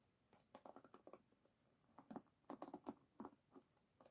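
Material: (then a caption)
Bamboo. An oval bamboo paddle hairbrush with wooden pins set in a rubber cushion lies flat on a table while long nails scratch and tap along the pins. The result is irregular bursts of quiet, dry clicking and scratching, with short ticks of mid-range body and bright tops that stop almost instantly.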